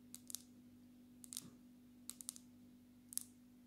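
Long natural nails of both hands tap the glass back of a black smartphone held upright, making quick, bright clicks in short bursts. Each tap is sharp and dies away almost at once, over a quiet, steady low hum.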